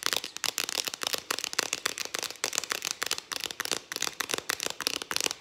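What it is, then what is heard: Aluminium aerosol can with plastic cap. Long acrylic nails tap fast on a hand-held, hollow Farmdale whipped cream aerosol can, striking both its ribbed purple plastic cap and its aluminium body. The result is a steady stream of quick, dry, bright clicks with almost no low end, each dying out at once with no ring.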